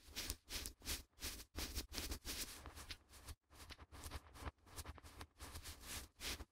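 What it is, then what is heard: Sheet of A4 printer paper. A white sheet of A4 printer paper, held in both gloved hands close to the microphones, is flexed, waved and rubbed with the fingertips. The result is a quiet, irregular run of soft, bright crinkling swishes with a low rumble underneath, each burst short and dry with almost no ring.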